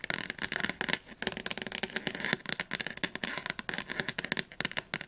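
Long nails tap rapidly on the cover and spine of a thick blue paperback dictionary. The result is a dense, uneven stream of crisp, bright clicks with very little low end. Each tap dies away almost instantly.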